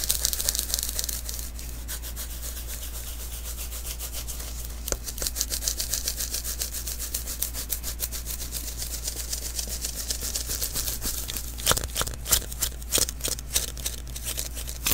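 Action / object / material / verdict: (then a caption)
scrape / adhesive paper lint roller roll / adhesive paper / none. Palms and fingers rub and pat the sticky surface of a small, hollow adhesive paper lint roller refill held in the hands. Rapid, bright crackling and tacky peeling sounds come in dense runs, with louder pats standing out near the end. A steady low hum runs underneath throughout.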